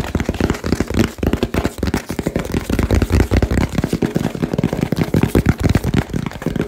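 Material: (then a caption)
Cardboard. Fingertips and nails tap rapidly on a small hollow cardboard box with a label. The result is a fast, dense stream of short, dry, low thumps with quick clicks and almost no ring between hits.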